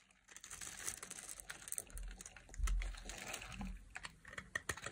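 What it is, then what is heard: Dry bar of soap being carved. A small metal utility blade carves and scrapes flakes off a solid, hand-sized, blue-and-white striped bar of dry soap held in long glitter nails. The result is a dense run of crisp, bright scratching and clicking, with a low dull thump near the middle.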